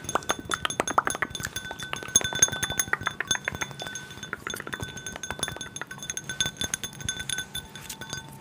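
A small, clear, empty hollow drinking glass tumbler is held in the hands and rapidly tapped and rubbed with fingertips and nails close to the mic. Dense clinks and ticks overlap with faint scraping, each clink ringing with short, bright glassy tones that fade almost at once.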